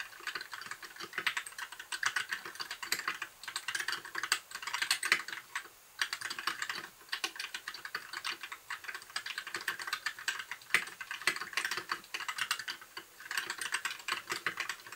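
Fingertips of both hands type steadily on a compact white backlit mechanical keyboard with plastic keycaps. The result is a dense stream of short, bright, clacky keystrokes with almost no low end, broken by a few brief pauses.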